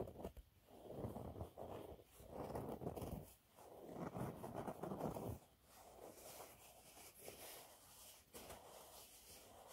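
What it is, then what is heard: Textured cleaning cloth being scratched. A thin, flexible yellow cleaning cloth with a raised dotted waffle texture is held upright in both hands while manicured nails on ringed fingers scratch and crinkle its surface. Dense, rough scratching and rustling comes in strong swells for the first five seconds or so, then gives way to quieter, lighter scratching with occasional bright crinkles.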